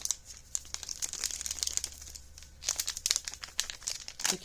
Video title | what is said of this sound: Comparison Between A Spanish Breakfast Ration And US Halal Breakfast MRE | you can hear the powder shake